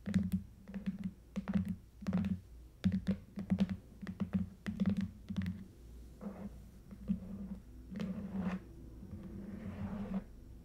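Long nails tap and scratch the sides and ends of a long red Stuhrling watch box, about 30 cm, a lidded, hollow cardboard box covered in smooth coated paper. A quick run of dull, hollow, low taps with very little ring fills the first half. Softer, hissing scrapes with brief bright edges follow in the second half.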